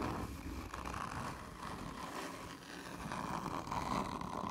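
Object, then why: Cardboard tube. Long nails scratch slowly and hard across the print and stickers of a hollow, black textured cardboard whisky tube. The result is a continuous, rough scraping with a steady rasp around 1 kHz and a low hollow rumble, dipping briefly before swelling back.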